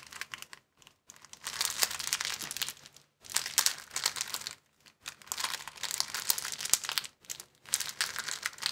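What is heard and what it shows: A clear plastic bag rolled into a tube is squeezed and twisted in both hands, producing dense, bright crackling crinkles. The crinkling comes in several bursts separated by brief silences, with almost no low end and each crackle stopping dead.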